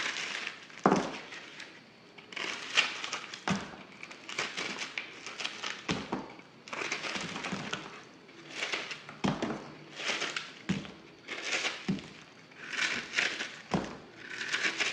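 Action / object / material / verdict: scrape / block of soap scraped with a knife blade / soap / none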